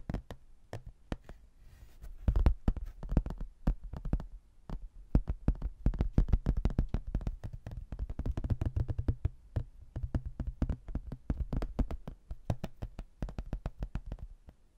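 A rigid laminated hardboard placemat, a solid thin board with a printed rocky-landscape photo and a textured border, is held in both hands and tapped and scratched with fingernails. Quick, dense runs of dull, low knocking taps and light scratches die away almost instantly, clustering into busier bursts with brief pauses between them.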